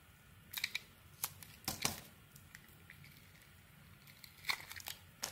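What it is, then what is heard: Bar of soap being shaved. A rectangular solid bar of soap with ridges and a yellow glitter coating, held in the hand, is scraped and shaved with a metal utility blade to reveal the white soap underneath. Short, bright, crackly scraping strokes come in irregular bursts over a quiet background, each fading almost at once.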